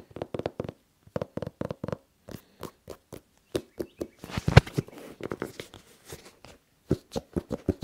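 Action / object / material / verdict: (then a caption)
tap / suede and rubber sneaker / suede, rubber / none. Fingertips and nails tap and scratch the rubber sole and suede upper of a single tan and red Nike sneaker, empty and hollow inside and held in both hands, picked up close by wrist mics. Quick bursts of short, dull, hollow taps with a low thump give way midway to a denser stretch of scratchy rustling before the tapping resumes.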